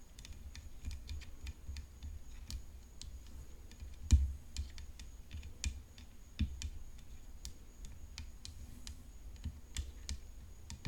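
Long fingernails tap quickly on the hollow frame of a rhinestone-decorated graphite composite tennis racket. The taps are sharp, bright, short clicks over a steady low rumble. A few land harder and louder in the middle of the clip.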